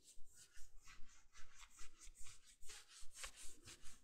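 Fingertips and nails scratch the raised sleeve of a navy soft plush fleece bathrobe that is being worn, making quiet, steady rubbing strokes that repeat at a regular pace. Each stroke is a soft, bright brushing hiss with a faint low thump underneath, and it stops quickly with no ring.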